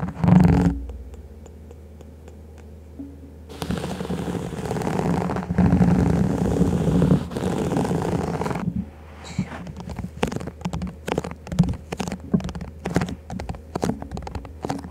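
Fingertips and nails tap and scratch the sides of a tall stack of thin, hollow, empty clear plastic cups placed upside down over a furry mic windscreen. The sound is muffled and low: an opening thump and a quiet hum, then long rough scratching swells, and finally a string of quick hollow taps that runs to the end.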